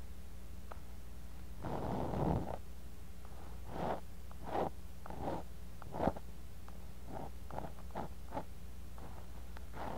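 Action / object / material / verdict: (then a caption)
scrape / kinetic sand in a glass cup / sand / none. A bamboo ear pick held in the fingers scratches and digs through kinetic sand in a clear glass cup, right beside a mini microphone buried in the sand. Soft, gritty scraping strokes with short dry bursts rise over a steady low hum, the longest rub near the start and several brief scratches after it.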